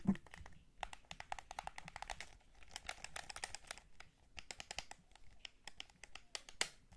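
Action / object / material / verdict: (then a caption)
tap / hollow plastic game controller / plastic / none. A white PS5 DualSense controller, a hollow plastic gamepad held in both hands, is tapped and pressed at its shoulder buttons, triggers and sticks. Rapid, dense clicks and taps, crisp and bright with a slight crinkly quality, come in uneven bursts with short pauses in between.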